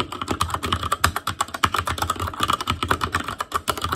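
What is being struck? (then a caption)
Mechanical keyboard with plastic keycaps. An ASUS ROG Claymore Core mechanical keyboard with Cherry MX Red switches, black plastic keycaps on a metal frame and a hollow housing with RGB backlight, is typed on continuously by the fingertips of both hands. A rapid, uneven stream of sharp, short clacks with a clicky tone near 1.3 kHz and a low hollow thump beneath each press continues for four seconds.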